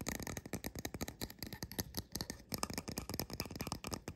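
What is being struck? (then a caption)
Painted resin mushroom house figurine. Fingertips and nails tap and scratch the two mushroom caps and their undersides of a small painted resin fairy-house figurine standing upright. About 25 quick, dry clicks come in a fast, uneven run, mixed with brief scratchy rasps and no lingering ring.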